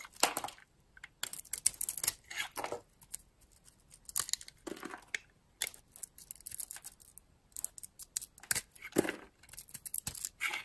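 A utility-knife blade carves a solid oval bar of dry soap with a purple shell and blue core, held in the hand. Quick, crisp scraping and crunchy shaving sounds come in bursts, bright and papery with almost no low end and no ring. Brief quiet pauses fall between the cuts.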